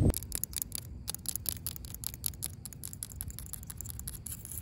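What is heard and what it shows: Long pink acrylic nails tap and scratch a yellow, ribbed, hollow plastic corrugated safety guard capping the top of a chain-link fence outdoors. Quick, light, bright clicks and scratchy ticks patter along steadily over a constant low rumble, each tap dying away almost instantly.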